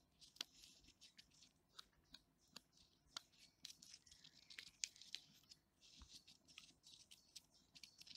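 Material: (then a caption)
Bark. Fingertips and nails scratch and tap along the ridges of thick, deeply furrowed bark on a large, solid living tree trunk. Soft, dry crackling scrapes are broken by sharp, bright ticks and taps, almost all high-pitched with very little low end. The result is a quiet, crisp, crinkly texture that stops dead after each touch.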